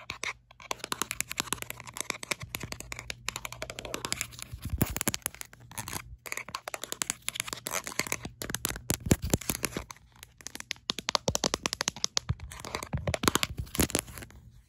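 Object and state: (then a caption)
Rubber-grip plastic phone case. Long acrylic nails tap rapidly on the back of a smartphone in an orange-red rubberised plastic grip case, making dense bursts of sharp, bright, clicky strikes with some scratchy scraping. The bursts pause briefly a few times, over a faint steady low hum.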